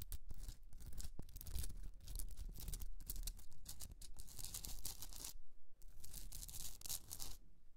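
Long nails scratch the rough, crystalline surface of a pink Himalayan rock salt candle holder resting on a fur rug. The result is dense, rapid, bright scraping and crackling over a low rumble, with a brief lull near the end before the scratching resumes.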